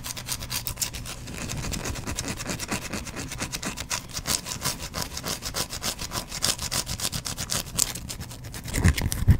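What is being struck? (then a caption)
Solid bar of soap. A solid, hand-sized white bar of soap is held in one hand and scratched with the fingernails of the other, close to a microphone. Rapid, steady, bright scratching strokes rasp over a low rumble, ending in a few louder, heavier scrapes.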